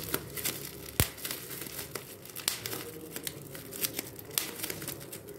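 A large clear plastic bubble wrap sheet with air-filled bubbles is held in both hands while the bubbles are popped between the fingertips. Sharp, bright pops stand out at irregular intervals over a steady layer of crinkling plastic.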